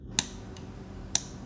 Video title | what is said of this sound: Valentine's Day Crafting with An and April | it has a different sound like it's not paper